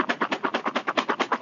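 A cardboard box for the board game CO2 is shaken steadily, rattling the game pieces inside. About 13 quick, even rattles follow one another in a fast rhythm, each a dry, short burst centered in the midrange with no low end.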